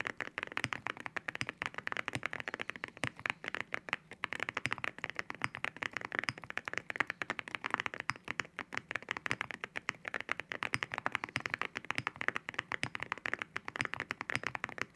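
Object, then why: Mechanical keyboard with ceramic keycaps. Both hands type on a white mechanical keyboard fitted with ceramic keycaps, fingertips tapping the keys repeatedly. The result is a steady, rapid stream of sharp, clacky taps with a bright, glassy tone centred near 1.9 kHz, very little low end and an almost instant decay after each keystroke.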